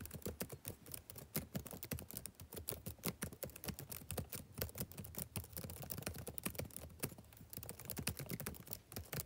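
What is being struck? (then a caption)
Plastic laptop keyboard keys. Fingertips type steadily on the black plastic keys of a backlit laptop keyboard for about nine seconds. It makes a quick, continuous stream of soft, short clicks and taps with a dull, low body and a faint bright edge. Each keystroke dies away almost at once.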